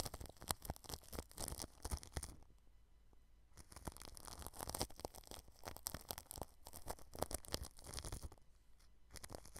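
A red-handled paintbrush brushes the edge of a white microphone's grille wrapped in clear plastic cling film, making close, crinkly, scratchy swishes and rustles with a low rumble beneath. The brushing comes in dense bursts and eases to a quieter stretch around the three-second mark before resuming.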